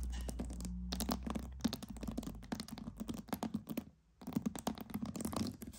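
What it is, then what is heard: Pearls. Pearls are tapped and scratched in a rapid stream of small, dry clicks and scrapes over a low hum. The sound pauses briefly near the four-second mark before the clicking resumes.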